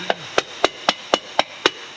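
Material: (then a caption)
Cast metal. A hammer taps seven times on a metal intake manifold at a crack that has been ground out and drilled at each end. Each tap is a short, dry click with almost no ring. The dull sound marks the manifold as still cracked at that spot.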